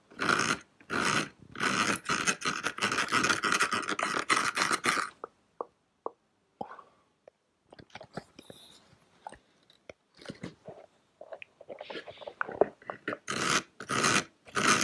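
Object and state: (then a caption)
Plastic toy castle tower. Fingertips and nails scratch and tap the brick-textured wall of a small, hollow grey plastic nativity-scene castle tower. Dense, bright, rasping scratching bursts fill the first five seconds, then give way to sparse, short, quiet taps and light scrapes. The loud scratching returns in the last two seconds.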